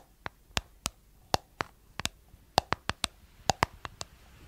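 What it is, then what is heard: Plastic cosmetic jar tapped with nails. Long nails tap the white plastic lid and blue body of a round, hollow, palm-sized plastic cosmetic jar. About fourteen quick, dry, bright clicks come in an irregular rhythm, each dying away almost at once with a slightly hollow tone.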